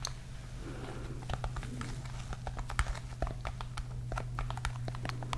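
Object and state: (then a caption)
Fabric-covered hard case tapped and scratched with nails. Long pink nails scratch and tap across a small, palm-sized, hollow, dark grey hard-shell case with a textured woven fabric-covered surface. A rapid scatter of crisp, bright ticks and soft scratching rustles plays over a steady low hum. Each tap dies away almost instantly.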